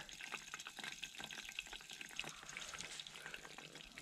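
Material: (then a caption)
Oil. Oily popcorn kernels sizzle in hot oil in a pot over a campfire as the pot is shaken, giving a dense, bright crackling hiss. The sizzle means the oil is hot enough and popping will start soon.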